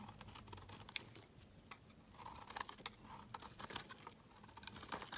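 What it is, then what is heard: Bar soap being shaved. A utility knife blade scrapes thin shavings from the edge of a solid, bright-green oval bar of soap held in the hand. The result is a quiet, bright series of dry scraping strokes and crisp little ticks that stop sharply with almost no ring.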